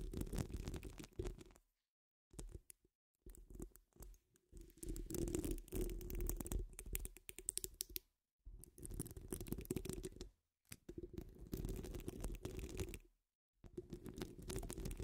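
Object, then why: Metal mesh microphone grille. Long acrylic nail tips scratch the sides of a metal mesh microphone grille in bursts of rapid, gritty scraping, with short silent pauses between. The sound is dense and close, heavy in low rumbling thuds with a faint bright hiss on top.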